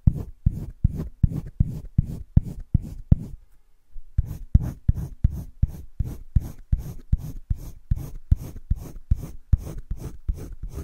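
A green wooden colored pencil shades a heart on a flat spiral-bound sketchbook page with quick repeated strokes. It makes a steady run of low, soft scratching rubs, with a short pause partway through before the strokes resume.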